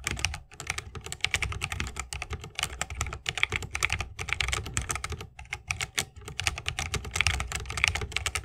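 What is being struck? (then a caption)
Mechanical keyboard, plastic keycaps, wooden case. Fingertips of both hands type fast on an RGB-lit 60% mechanical keyboard with plastic keycaps on tactile Holy Panda switches, set in a solid bamboo wooden case resting on a wrist rest. A dense, continuous stream of sharp, bright clacks is heard, each with a short low thock beneath it and no ringing after.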